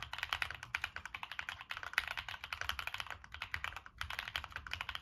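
Fingertips type rapidly on a Monsgeek M1 mechanical keyboard with NK Cream switches, a dark metal case and purple and black plastic keycaps. About 40 short, crisp clacks come in a steady flurry, bright with little low end and almost no ring. There are brief pauses near 1.7 and 3.9 seconds.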